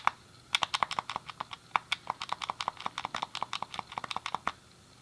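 A thumb clicks the D-pad and fingertips press the face buttons of a hand-sized, hollow grey plastic SNES game controller. After a single click, a quick, uneven run of sharp, dry plastic clicks follows, 31 in all. Each click is short with a bright tap around 1 kHz and no lingering ring.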